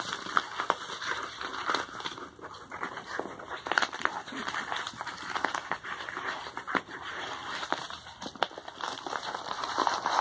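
A medium brown kraft paper padded mailer envelope resting on a towel is turned over while fingertips and nails scratch and rub across its surface. The paper gives off a steady dry crinkling and scratchy hiss, broken by frequent short, sharp crackles and ticks that die away almost instantly. There is almost no low end.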